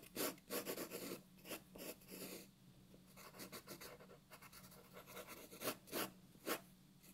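A graphite pencil draws details on a white paper sheet resting on a wooden table, producing bursts of dry, bright scratching strokes. Short, quick strokes alternate with softer, quieter rubbing passages, over a faint steady low hum.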